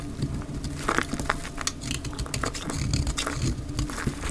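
A solid square lavender-blue bar of dry lavender soap is held in the hand and scraped into flakes with a utility knife blade, sped up to 2x. Dense, dry crackling and crunchy scraping ticks run continuously over a low rumble, with brief bright scratchy bursts throughout.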